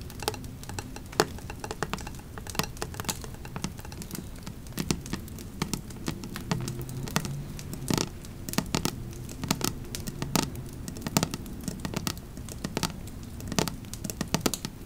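Long nails tap and scratch across the embossed area of a black metal candle lid lying flat. Many quick, sharp, bright clicks with almost no ring sit over a soft scratching texture and a steady low background hum.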